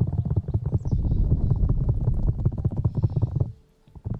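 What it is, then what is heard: Rubber microphone ear being scratched. Fingertips of both hands rub and scratch the black rubber ear pieces of a 3Dio binaural microphone, producing dense, irregular, muffled low thumps and scrapes with almost no high end. The rapid rubbing holds steady, fades nearly to silence for a moment near the end, then starts up again.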